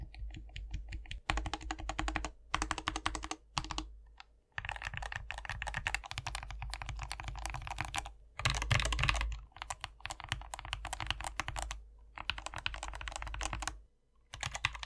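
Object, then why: Plastic mechanical keyboard with PBT keycaps. One hand types on a compact 60% SK61 mechanical keyboard with a white plastic case, foam filling, lubed optical switches and green, white and pink PBT Mojito keycaps, pressing the keys with its fingertips. Fast, dense bursts of short clacky keystrokes carry a solid low body with bright tapping edges, broken by brief pauses through the clip.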